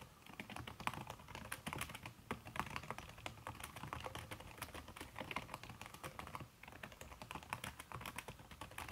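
Fast typing with fingertips and long red nails on a backlit aluminium laptop keyboard fitted with a red silicone key cover. A dense, steady stream of soft, muffled key taps with short, dry clicks that die away almost instantly, with a brief lull near the end before the typing resumes.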